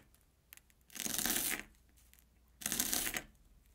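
A steel kitchen knife slices an airy Banana Kick corn puff stick into thin rounds on an orange plastic board. Two separate cuts are heard, each a bright, crackly crunch lasting about half a second, with a faint tick before the first and quiet between them.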